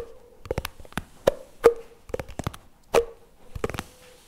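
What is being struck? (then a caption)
Plastic spread tub. A CremaNovi plastic spread tub lies on its side while fingers tap and scratch its lid and rim. Irregular, hollow plastic taps with a short, mid-pitched ring are mixed with brief bright scratches, all dry and close.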